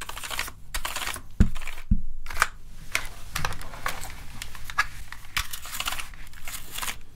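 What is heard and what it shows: A hollow plastic gaming keyboard is held in the hands while a small tool is worked over its keys, brushing across them and clicking them. Bright, scratchy brushing bursts alternate with irregular plastic clicks, and two sharper, heavier knocks stand out early on. The keys rattle and tick in an uneven rhythm throughout.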